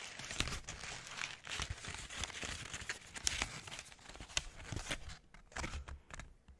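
A white sheet of paper with handwriting on it is crumpled and squeezed with the fingers close to the microphone. The result is a dense, bright crinkling with sharp crackles and snaps throughout. It thins into sparser, quieter crackles toward the end.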